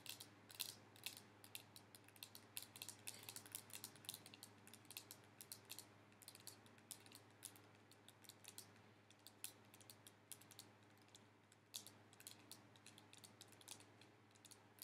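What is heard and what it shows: Fingernails tap rapidly on a clear plastic cosmetic spray bottle filled with pink liquid, held in both hands. The clip is a quiet, continuous run of sharp, bright clicks that die away almost at once, over a steady low hum.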